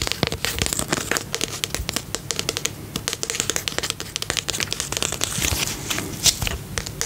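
Fingertips and nails tap quickly on the side and label of a small, round, pink and purple plastic tub with a lid, filled with slime. A fast, uneven run of crisp, bright clicks and crinkly taps is heard, each dying away almost at once, with little low-end weight and one sharper tap near the end.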